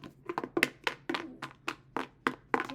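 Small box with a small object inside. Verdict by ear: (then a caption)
Loose. A box holding a small multicolored heart is shaken, and the loose heart rattles around inside. About ten short, dry knocks sound in quick succession with very little ring.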